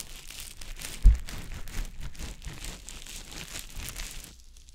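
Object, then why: Konjac sponge puff. A small, round, green konjac puff, soft, porous and damp, is held in the fingers and rubbed and pressed over the silicone ear of a dummy-head microphone. It makes a steady, close, crinkly wet squishing with bright rustling texture. There is one louder low thump just after the first second, and the sound fades quieter at the very end.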